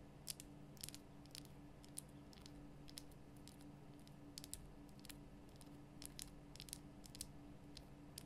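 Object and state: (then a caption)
Himalayan salt lamp tapped with nails. Long nails tap around the top and sides of a large, lit, pink Himalayan rock-salt lamp, a solid rough crystal block. Sharp, bright, brief clicks come in irregular clusters over a steady low electrical hum.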